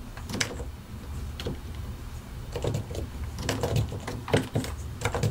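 A white and grey plastic mechanical keyboard with keycaps over solid switches is typed on continuously with the fingertips of both hands. Irregular clacking key presses and taps ride over a steady low rumble, with some strokes sharper and brighter than others.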